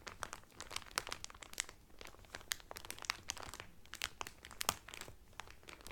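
Fingertips and nails crinkle the clear cellophane wrapper around a blue Carnival cotton towel folded flat inside it. A quiet, steady run of sharp, bright crackles and crunches snaps in irregular bursts, each crackle cutting off almost instantly with little low-end body.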